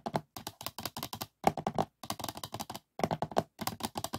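A printed polycarbonate DVD disc lies flat on a closed DVD case while fingertips and nails tap quickly across its surface. The result is bursts of short, dry, clicky taps with a hollow plastic tone and almost no ring, separated by brief pauses.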